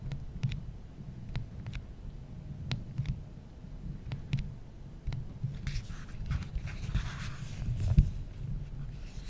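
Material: Glass, aluminum.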